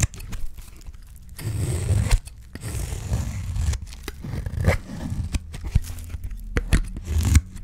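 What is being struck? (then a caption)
Bar of dry soap. A utility knife blade scrapes strips off the face of a solid bar of dry soap held in the fingers. Rough, low-heavy scraping strokes are broken by short quiet gaps and sharp dry snaps as the strips come away.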